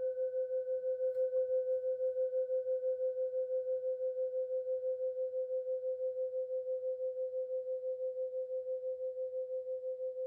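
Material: Bronze.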